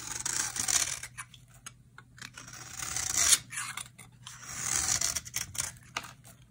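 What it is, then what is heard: Dry bar soap being shaved. A utility knife blade scrapes and shaves the surface of a solid, dry orange bar of soap held in the hand. The strokes make bright, crisp rasping swells separated by short pauses, and the highest-pitched scrape sounds at the loudest peak.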